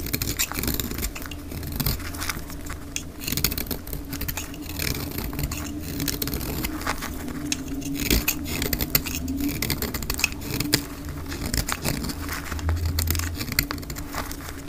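A bright green oval bar of dry soap is shaved with a utility knife blade at double speed, with flakes piling up beside it. A dense, continuous run of crisp scraping and crackling carries steady bright hiss over a low rumble, with sharper scrapes poking through at irregular intervals.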